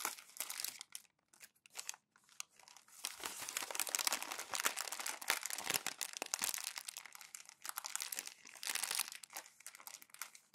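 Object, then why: Glossy magazine paper. Two hands gather single thin pages of an open glossy magazine on a white desk and crumple them into a roll, rubbing the paper as they go. Bright, crackling crinkles come in dense bursts, with brief quiet gaps early on and then a nearly continuous stretch of crunching and rustling.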